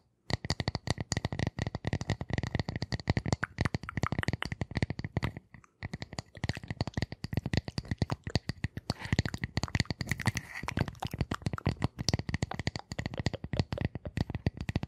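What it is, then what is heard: Round wooden disc tapped and scratched with nails. Long nails rapidly tap and scratch a flat, solid, light round wooden disc placed between the microphones. The dense stream of short, dry, low-weighted clicks carries a faint bright ring on top. The tapping pauses briefly near the six-second mark, then continues with some scratchier stretches.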